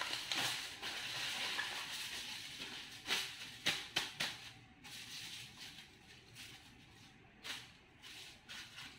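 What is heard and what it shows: Fingertips and short nails of both hands rub and scratch across a thin, crinkled aluminum foil sheet spread flat on a marble surface. The result is a bright, papery crinkling hiss with almost no low end, broken by several sharp scratchy bursts. It is fuller in the first seconds and thins to softer rustling toward the end.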